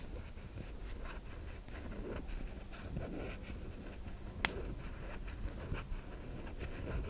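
Long nails scratch and scrape the surface of a solid white bar of soap held in the hand, leaving soap shavings. Soft, steady scratching runs throughout over a low rumble, broken by two sharper, brief ticks near the middle and later in the clip.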